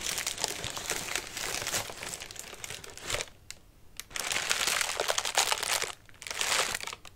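Fingertips scratch and press the crinkly paper of a large orange paper lantern with thin wire ribs, hollow and collapsed flat. Dense, bright crinkling and crunching run throughout, broken by brief quieter pauses near the middle and again before the end.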